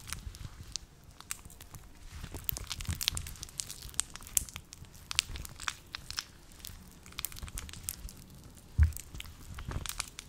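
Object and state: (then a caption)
Rubber gloves rubbed together. A pair of long teal rubber household gloves, dry with a matte surface, is worn on both hands while the palms and fingers are rubbed and pressed together. The result is a steady stream of squeaky, crinkly rubber friction with bright crackles and soft low rumbling underneath. A louder, low thump stands out near the end.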